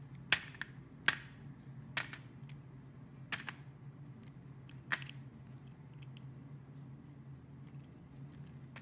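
An orange-handled utility blade carves and cuts a small, solid, hand-held piece of translucent green glycerin soap. Several sharp, crisp snapping cuts with bright tops come at irregular intervals, each dying away almost instantly. A low, steady hum runs underneath throughout.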